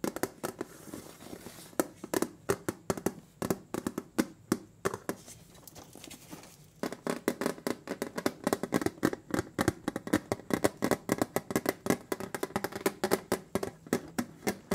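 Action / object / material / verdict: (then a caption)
tap / metal cookie tin bottom / metal / none. Fingernails scratch and tap the bare, silver, ridged metal bottom of a large round butter cookie tin, then keep tapping while both hands hold it. Dozens of quick, sharp, dry clicks with a faint metallic tone around 390 Hz die away almost instantly. The tapping eases into a quieter, sparser stretch in the middle before returning as a dense, steady patter.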